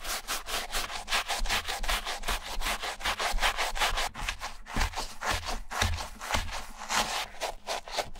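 A wooden bristle brush scrubs the interior lining and tongue of a white leather Adidas Stan Smith sneaker, hollow and foamy with shampoo. Rapid, steady back-and-forth strokes make a dense, bright, scratchy brushing sound with soft low thumps underneath.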